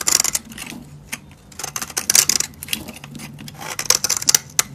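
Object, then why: Soap bar carved with a metal blade. A solid, dry pink soap bar held in hand is scraped and carved with a metal utility blade, with powder and flakes falling away. Crisp, bright scraping and cutting bursts come in clusters, each ending almost instantly with no ring, separated by quieter stretches of faint hiss.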